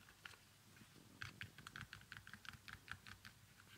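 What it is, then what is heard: Leather baby sandal. Fingernails scratch and tap the upper and stitched sole of an empty, small leather baby sandal with a strap. About fourteen quiet, crisp clicks land in an irregular run over a soft, bright scratching hiss, each tap dying away almost instantly.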